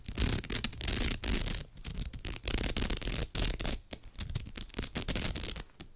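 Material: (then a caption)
Straw. Long nails scratch and rub across the surface of a woven straw bag, making dense, dry scratching with bright crackly texture over a low rumble. The strokes come in quick, uneven bursts with brief pauses between them.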